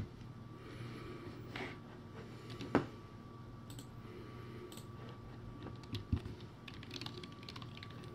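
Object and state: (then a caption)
Plastic keyboard being typed on. Fingertips type on a cheap-sounding plastic typewriter-style backlit computer keyboard with round white plastic keycaps on a clear base. Sparse, irregular clicks and soft taps sound over a steady low hum and a faint constant tone, with a few sharper key strikes standing out. Each click dies away almost instantly.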